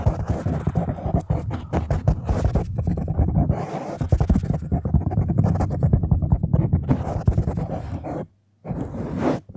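Long nails and fingertips scratch and stroke across the top of a black foam windscreen on a microphone, producing a dense, muffled, low rumbling scrape made of rapid overlapping strokes. The scratching runs steadily, drops to silence for a moment near the end, then resumes briefly.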